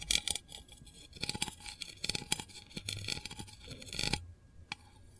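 A long fingernail taps and scratches the lid of a small, round, hollow printed metal candle tin. Quick, bright metallic clicks come in clusters, mixed with thin scratchy scraping. The sound stops just after four seconds, followed by one last faint tap and quiet.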